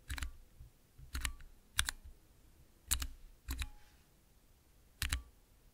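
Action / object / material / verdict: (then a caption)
tap / small clear plastic mechanical keypad / plastic / none. Fingertips press the keys of a small, transparent plastic 9-key Cherry MX mechanical keypad. Six separate bursts of sharp, bright clacks are heard, each with a low thock beneath it and some landing as quick double clicks. Short, quiet pauses fall between the bursts.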